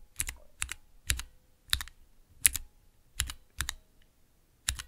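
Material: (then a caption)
Plastic. Fingertips press and tap the clear plastic keycaps of a small 3x3 mechanical keyboard switch tester, with Cherry MX switches in a clear plastic base resting on dark velvet. Eight bright, crisp plastic clicks come at an uneven pace, each a quick double snap with a soft low thud beneath. Every click dies away almost at once.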